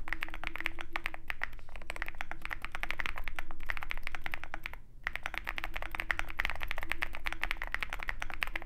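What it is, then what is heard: Mechanical keyboard typing. A Zoom65 65% mechanical keyboard with white MT3 PBT keycaps on a dark aluminum case rests on a desk mat beside a wooden wrist rest, as fingertips of both hands type on the keys. Dense, rapid clacks run continuously with a bright, short click to each keystroke, then pause briefly near the five-second mark before the typing resumes.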